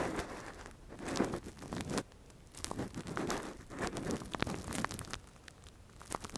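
A gloved hand scratches and probes inside the hollow ear canal of a soft, translucent, hand-sized silicone ear model used as a binaural microphone cover, using a thin metal earpick. Close, crinkly scraping and rustling comes in uneven bursts, with sharp little clicks and crackles between brief quiet gaps.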